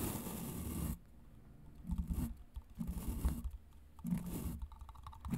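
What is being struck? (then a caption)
Plastic vacuum brush attachment. Long nails tap and scratch along the shell of a hollow grey plastic vacuum brush attachment. After a second of broad hiss, the clip settles into quiet, low, dull scraping bursts that rise and fade in uneven waves, with soft taps in between.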